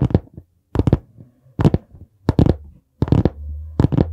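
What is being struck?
Hardcover notebook board cover.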